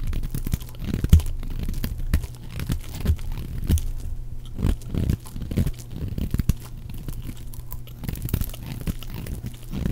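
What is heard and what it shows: A round, pale yellow, dry, solid bar of soap is held in the hand and scraped with a utility knife blade into long shavings. Dense, crunchy scraping and tearing sounds run continuously, with low, close strokes and occasional sharper crackles.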